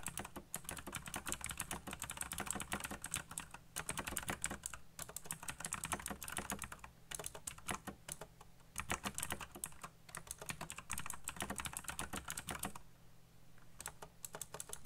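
Fingertips type very fast on a backlit plastic mechanical keyboard with black plastic keycaps, producing a dense stream of sharp, bright clicks over a low steady hum. The typing comes in bursts with brief pauses, including a longer quiet gap near the end before a few final keystrokes.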